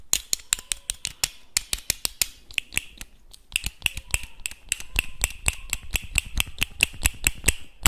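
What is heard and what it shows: Small, hard, hollow clam shell halves are held in the fingers, clicked together and tapped with the nails. About three dozen sharp, dry clicks follow in quick, uneven succession, each with a bright, hollow ring around 2.7 kHz and almost no decay.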